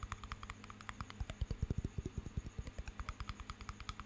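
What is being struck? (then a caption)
Small glass jar of water with metal lid. Fingernails tap rapidly on the glass walls and metal lid of a small water-filled glass jar held close to the mic, about 28 quick taps over four seconds. Each tap is a short, dry click with a low, hollow thump beneath it and a faint bright tick on top, at a loosely uneven rhythm that grows briefly louder in the middle.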